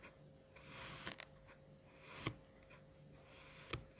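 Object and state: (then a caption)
Kinetic sand being sliced. A long bread knife with a small lavalier microphone on its handle slices a mound of yellow-green kinetic sand into strips with its serrated edge. Quiet, gritty, hissing scrapes swell and fade as the blade draws through the sand, broken by a few sharp, bright clicks. A faint steady hum runs underneath.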